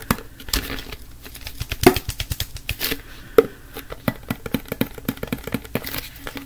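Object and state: Plastic wipes canister, tapped and scratched.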